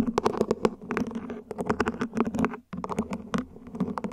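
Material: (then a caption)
Plastic. Long nails scratch across the ribs and tap the top of a small, hollow, mint-green ribbed plant pot, probably plastic, that sits upside down. A quick, uneven run of short, dry, hollow taps mixes with soft scratchy rasps. The taps have a muted low-mid body and die away almost at once, with a brief silent gap just before the tapping picks up again.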